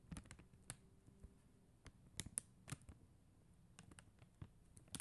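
Long acrylic nails tap and lightly scratch across a flat plastic rhinestone sticker sheet of faceted plastic gems. About ten quiet, sharp, bright clicks land at an irregular pace, with soft scratching in between. Each tap is dry and dies away at once.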